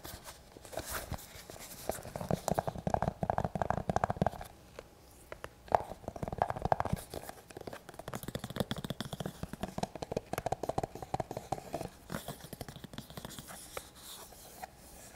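Fingertips and nails tap and scratch the leather surface and flap of a small, hollow, empty black leather police duty-belt pouch held in both hands close up. The result is dense, crackly tapping and scratching with a hollow mid-range tone. It comes in busy bursts separated by brief quieter pauses.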